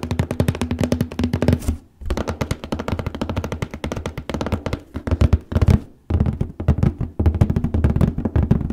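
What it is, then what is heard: Cardboard box. Fingernails rapidly tap and scratch the printed lid of a large printed cardboard paper case box resting on a lap. The result is a dense run of short, dull, hollow thumps with a low body and quickly damped ring, and a lighter papery scratch on top. The sound pauses briefly just before 2 seconds and again around 6 seconds.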